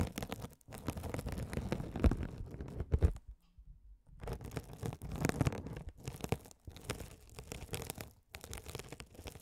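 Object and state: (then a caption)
Mesh scouring sponge scratched with a spiked roller. A rolling gold metal spiked roller scratches a hand-sized blue glitter mesh scouring sponge, soft and solid with a sparkly woven mesh cover, held over the microphones. It makes dense, crackly, crunching scratches that are mostly low and muffled, with a brief near-silent pause around the third second before the rolling scratches resume.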